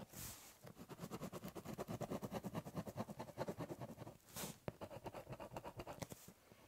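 The tip of a ballpoint pen scratches across a large, hollow, brown corrugated cardboard box while drawing letters. It makes a rapid, uneven run of short, dry scraping strokes with a hollow, low body. Brief bright hissy swipes come near the start and again after a short pause.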